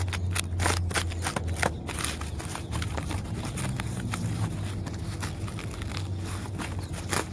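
Fingers and nails scratch and pick at the rough, peeling, papery bark of a large, solid tree trunk. Short dry crackles and scratchy ticks flick in and out over a steady low rumble that dominates the clip.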